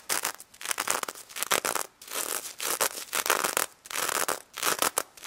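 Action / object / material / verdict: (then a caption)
scrape / plastic sequins on a plush toy / plastic sequins / none. Long red fingernails scratch fast across the plastic sequins covering a pink stuffed plush pig toy. The result is bursts of bright, crackly rustling that come in quick clusters with brief pauses between them, with almost no low end.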